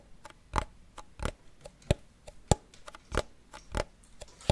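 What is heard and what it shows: A small hollow wooden cigar box with a printed paper label on its lid, held in the hand, is tapped with fingernails. It gives short, dry ticking taps with a low thud, some louder than others, coming at an uneven pace with almost no ring.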